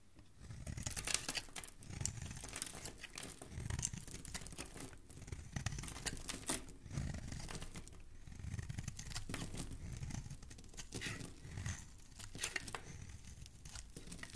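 A flat metal blade shaves and scrapes a hand-sized solid green bar of soap with an embossed logo, held in one hand, as crumbly curls come off the surface. The sound is a steady run of dry, crinkly scraping and crumbling strokes with a low, muffled body and bright, hissy edges. Each stroke is short with almost no ring.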